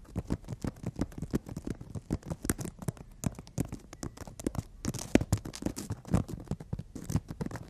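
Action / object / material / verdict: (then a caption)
scrape / emery board nail file tapped and scratched with fingernails / emery board / none. Long natural fingernails of both hands tap and scratch along a long, flat, solid emery board nail file. A rapid, irregular run of short, dry clicks and gritty scrapes follows, each with a low thump and a brief bright edge. The sounds die away almost instantly and stay close and fairly quiet.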